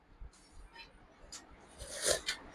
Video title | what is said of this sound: రాజమండ్రిలో అతి పురాతన ఇత్తడి సామాన్ల హోల్ సేల్ షాప్ - మండవిల్లి మెటల్స్ -రిటన్ గిఫ్ట్స్ 60/- నుండి | ఇది కంచు కాదు కానీ కంచు శబ్దం వస్తుంది